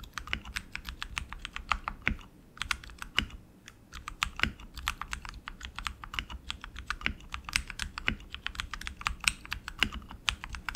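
Both hands type continuously with their fingertips on a tenkeyless RGB mechanical keyboard with tactile switches and plastic keycaps on an aluminum frame. The result is a rapid, steady stream of bright, sharp clacks that stop almost instantly, with a few brief pauses and some louder deeper thocks.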